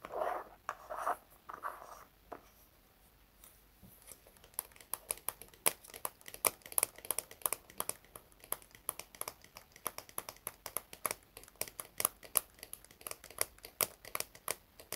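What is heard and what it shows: Fingernails scratch and tap on the sides and top of a small, round, red plastic hair wax jar with a lid. Soft, brushing scratches in the first few seconds give way, after a brief quiet pause, to a steady stream of quick, sharp, bright clicks that stop dead with no ring.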